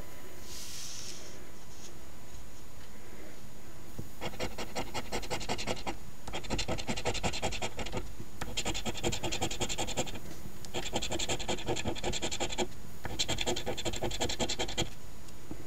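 A coin edge held in the fingertips scratches the latex coating off the number circles of a thin, flat paper $10 OLG Ontario Lottery "Wish List" instant scratch ticket (#2450), while the other hand steadies the ticket. After a few seconds of quiet paper handling, bursts of rapid, bright, raspy scratching repeat with brief pauses between them until the end.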